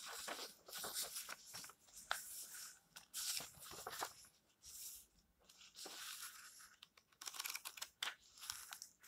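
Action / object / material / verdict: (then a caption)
scrape / paperback book pages, paper / paper / none. Hands rub and flip the dry pages of an old yellowed paperback, making a crunchy, papery rustle. Bursts of bright crackle rise and fall in uneven waves with quiet gaps between page turns, with almost no low end.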